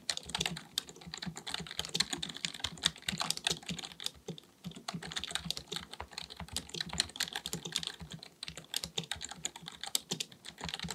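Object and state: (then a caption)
Plastic computer keyboard being typed on. A black full-size plastic computer keyboard resting on a desk is typed on rapidly with the fingertips of both hands. Quick, dry, bright key clicks patter in a steady, continuous stream, each tap dying away almost instantly, with soft low thumps from keys bottoming out beneath the clicks.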